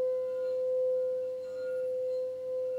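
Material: Nothing is struck.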